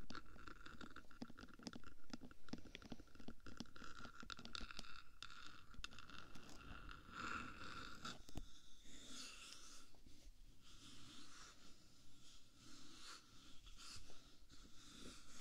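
Long painted nails scratch and tap the top of the hollow black metal box body of a binaural 3Dio microphone, about 15 cm in size. Dense, quick scratches and short taps pile into a low, rumbling texture with a thin bright edge. After about eight seconds the activity eases into softer, steadier scratching.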